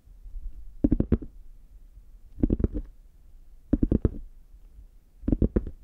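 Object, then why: Faux leather covered hard shell case. Fingertips and nails tap and scratch the embossed front of a brown, chocolate-bar-shaped zippered hard case, a hand-sized, hollow, closed molded shell covered in faux leather and held in both hands. Four short bursts of three or four quick taps each come a little over a second apart. The taps are dull, hollow knocks in the low-mid range with almost no ring, separated by a faint scratchy rustle.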